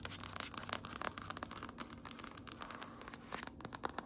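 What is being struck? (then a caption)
Wood-grain floor tapped and scratched with fingernails. Long nails tap and scratch across a large, solid grey wood-grain floor. The result is a rapid, dense run of short, dry, bright clicks and scrapes with no ring after each touch.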